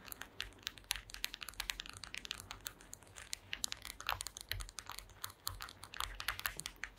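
Long green acrylic nails tap rapidly across the slats of a flat, solid woven wooden mat. The result is a dense run of short, dry, bright clicks that sound like typing, each ending almost instantly over a faint low hum.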